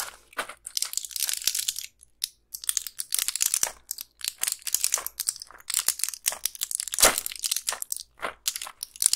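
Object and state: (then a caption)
Plastic and foil blister pack being crushed. Long pink nails press and crush the plastic bubbles of a small, flat, clear plastic blister pack with a foil backing, its cells filled with colorful round candies. It gives dense, bright crinkling and crunching in quick bursts, separated by short pauses, with almost no low end.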